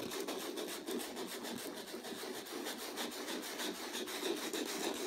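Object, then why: Acrylic-painted canvas rubbed with sandpaper. A small folded piece of sandpaper held in the fingertips is rubbed repeatedly over a flat stretched canvas with a rough acrylic-painted texture to sand it. A continuous, steady gritty rasping runs throughout, with rapid scratchy strokes that are strongest in the low-mid range and carry a bright, hissy edge.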